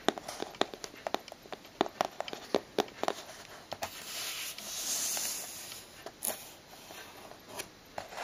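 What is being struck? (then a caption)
Cardboard shipping box. Fingertips and nails tap on the side wall of a closed, hollow brown cardboard shipping box with a strip of packing tape across it. A quick, uneven series of light, dry, papery clicks, with a soft, hissy rubbing swell in the middle before the tapping resumes.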